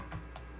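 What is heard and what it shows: A pickup on a Rickenbacker 4003s bass guitar is tapped to check whether it comes through the amp. Only faint, soft ticks sound over a steady low hum, with no clear tone from the pickup. The pickup is heard as silent.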